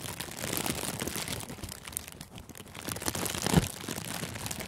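Thin, clear plastic cellophane gift wrap is wrapped around a furry microphone windscreen and squeezed and crinkled with the fingertips and thumbs. The result is a dense, continuous crackling and crinkling with a strong low rumble and bright snaps, swelling louder toward the end.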